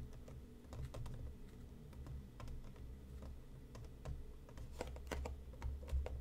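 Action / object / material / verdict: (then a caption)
tap / closed cardboard tea box / cardboard / none. Fingertips and nails tap the top and side of a closed, hollow, medium-size printed cardboard tea box resting on a cutting mat. Quick, light, dry clicks come in an uneven, rapid patter, each dying away almost at once, over a steady low rumble.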